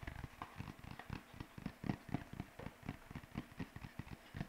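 A single white paper sheet is arched overhead, then waved and held near the mic, bent and shaken with the fingertips. It makes a fast, irregular run of soft, low flapping thumps with crinkly rustle layered over them. Each flutter is short and dry with almost no ring.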